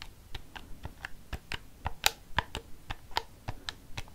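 Fingernails tap the rubber keys of a black plastic desk calculator held upright, making about fourteen short, dry clicks at an uneven pace. Each tap is brief and crisp with a bright edge and no ring.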